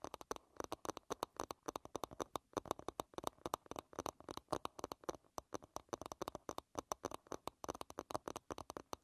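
Long red nails tap and scratch rapidly on the smooth, flat wooden back of an oval hairbrush lying bristles-down. The result is a quiet, fast, uneven stream of dry, clicky taps with no ring, centered in the midrange with faint bright edges and soft scratchy texture between hits.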